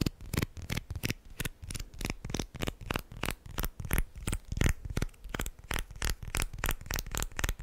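Plastic guitar picks are tapped and handled quickly, producing about two dozen light, dry clicks at an uneven pace with a soft, card-like rustle between them. Each click is short with no ring.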